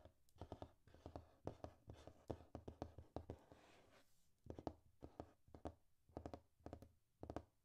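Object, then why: Glossy paper magazine pages. Fingertips and painted nails rub and scratch over the glossy paper pages of an open magazine. Quick, dry scratching strokes come in rapid bursts, with a short, smoother rustle partway through before the scratching resumes.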